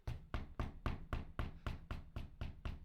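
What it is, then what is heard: Running shoe with a loud, knocking sole. Footsteps in an Adidas Supernova Prima running shoe with a foam sole give eleven evenly spaced, sharp knocks, each with a low thud and a brief click that dies away quickly. The knock is louder and sharper than the Ultraboost 5X, loud like high heels, which is noted as a flaw of this shoe.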